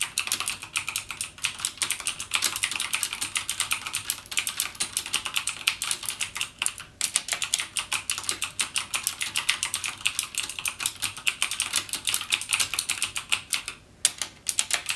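Fingertips type rapidly on a backlit mechanical keyboard with plastic keycaps and Cherry MX Blue switches. The result is a dense stream of bright, crisp clicks that die away almost instantly, with brief pauses around seven and fourteen seconds.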